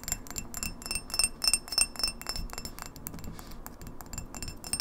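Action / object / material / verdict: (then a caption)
tap / glass pint glass / glass / none. Long nails tap fast on the sides and base of a clear, etched, hollow, empty pint drinking glass held on its side. The result is a quick, irregular patter of bright, high glassy clinks with very short ring, loudest in the first two seconds and then softer and denser.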